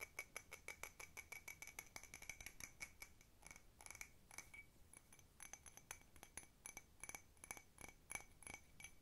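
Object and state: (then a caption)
Ceramic cup. A small, hollow, empty blue patterned cup that appears to be ceramic is tapped fast with long red nails on its outer surface and rim. Rapid bursts of short, bright clinks carry a steady ring near 2.3 kHz and higher tones, each dying away almost instantly.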